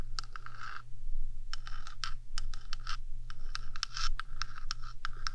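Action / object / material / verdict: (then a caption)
scrape / hollow metal microphone housing / metal / none. Long acrylic nails rapidly scratch back and forth across the top of a rectangular, hollow metal 3Dio microphone housing. The result is a series of quick, bright scraping strokes with short metallic ringing, over a steady low hum.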